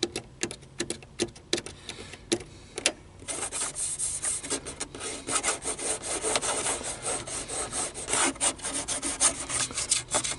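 Fingernails tap and scratch across the buttons and panel of a hollow black plastic car stereo faceplate. The first three seconds are sharp, clicky taps spaced apart. After that comes continuous bright, rasping scratching with more taps mixed in.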